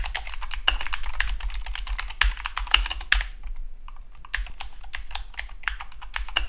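Fingertips type steadily on a compact Keychron K2 (V2) mechanical keyboard with dark plastic keycaps and blue clicky switches. A rapid run of bright, sharp clicks with short decays is heard, briefly easing off around the middle of the clip before the typing picks back up.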